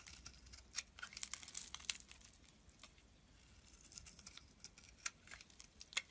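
A solid green-and-white striped bar of soap, held in the palm, is scraped with a metal utility blade into thin shavings. Quiet, bright, crisp scraping and crackling runs throughout as a string of short, sharp ticks, with louder snaps scattered through the clip and very little low-end.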